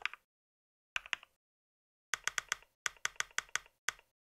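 Fingertips of both hands type on a compact white mechanical keyboard with plastic keycaps. About sixteen short, bright, clicky key taps come in small bursts separated by silent pauses, each dying away almost instantly.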